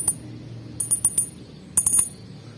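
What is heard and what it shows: An aluminium spool on a Katana Martis spinning reel gives bright, high metallic clinks in three quick groups over a low background hum, each ping short and sharp. The spool rings fairly loudly, like the earlier edition, because it is aluminium.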